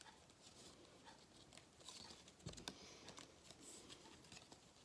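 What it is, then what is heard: Gold cardboard paper crown. Fingertips rub and crinkle the cut-out edges of a thin gold-foil cardboard galette crown, a flat band held close up. Soft, bright papery patter and crinkling runs throughout, with a few louder scratchy taps around the middle.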